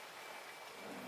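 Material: Nothing is struck.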